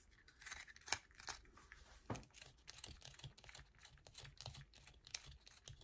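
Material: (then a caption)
Soap. Long acrylic nails scratch a solid yellow bar of soap held in the hand, shaving off flakes. The result is a quiet, continuous run of dry, bright scratching and crinkly scraping, with a couple of sharper, louder scrapes standing out near the start.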